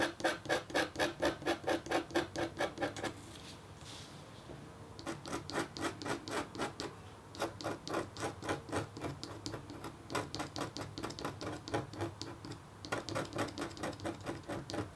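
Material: Copper foil.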